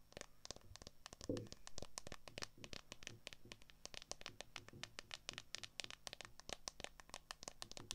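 Long acrylic nails tap quickly on the back of a smartphone near the camera, the phone sitting in a solid, transparent plastic case. The result is a rapid, steady stream of sharp, bright clicks with short decays over a faint low hum.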